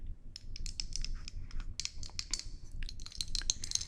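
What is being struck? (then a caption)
Decorative marble balls. A set of decorative marble balls is tapped about seventeen times in a quick, uneven run of sharp, bright clicks. Each click stops almost at once, with no ringing, over a faint low rumble.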